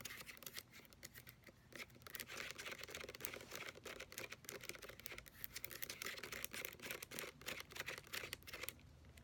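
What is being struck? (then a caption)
Plastic lotion pump bottle with paper label. Long nails rapidly tap and scratch the paper label on the front of a white plastic lotion pump bottle that appears full. The result is a steady stream of quick, irregular, dry clicks mixed with papery scratching, bright and crisp with very little low end.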